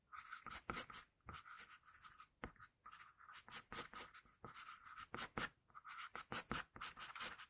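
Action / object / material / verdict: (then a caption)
scrape / wooden graphite pencil on drawing paper / graphite, paper / none. An HB wooden pencil held in the fingers sketches on a flat sheet of drawing paper with short, repeated strokes, scratching graphite across the surface. Each stroke is a quiet, dry, bright scratch with a steady tone near 1.2 kHz and a high hiss, and almost no low end. The strokes come in quick bursts separated by brief pauses, each cutting off with no ring.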